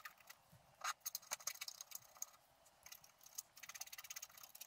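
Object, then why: Scratch-art card (black-coated paper) scraped with a wooden stylus. A wooden stylus scratches the coating off a flat black-coated scratch-art card lying on a table, with loose scraped flakes on it, to reveal a squirrel-in-the-garden picture. Quick, dry, bright scratching strokes come in rapid bursts and short pauses, with a faint high whistle-like edge and almost no low end.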